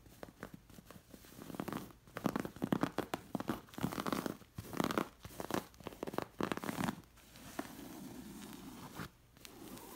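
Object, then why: Linen cushion with stitched appliqués. Long nails scratch along the stitched elephant and figure appliqués on a linen cushion. The result is a series of dry, rasping bursts of scratching and crinkly friction, mostly low to mid in tone. After about seven seconds they give way to a steadier, softer rubbing.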